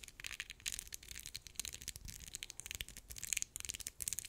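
Long acrylic nails quickly scratch and tap along the ridged sides of a small, filled, textured brownish-pink plastic lip gloss tube. The result is a quiet, dense stream of bright, crisp scratching and sharp ticking clicks that stop instantly, with almost no low end.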